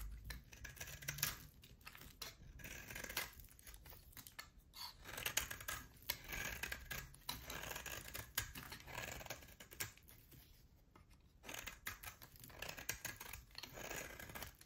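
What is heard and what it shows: A utility knife cuts a solid oval bar of hard soap, pale at the core with a black rim, into chunks. The clip is a steady run of crisp, bright scraping and crunching strokes with dry clicks that die away almost at once. It stays quiet throughout, with brief dips between bursts of cutting.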